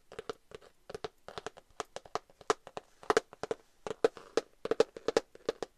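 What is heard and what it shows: A rose-gold glitter cardboard eyeshadow palette, held upright, is tapped with long nails and fingertips. About 29 quick, dry clicks and taps come in an uneven, fluttering rhythm, each with a hollow midrange knock near 450 Hz and a bright tick. Every tap dies away almost instantly, leaving no ring.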